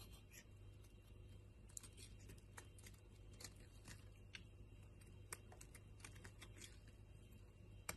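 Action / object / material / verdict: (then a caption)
scrape / bar of soap cut with a knife blade / soap / none. A utility knife blade carves and scrapes chunks and flakes off a solid purple bar of soap held in the hand. Soft, crisp clicks and short scraping ticks land at an uneven pace over a steady low hum, with a few sharper bright snaps standing out. Each cut is brief and dry, dying away almost at once.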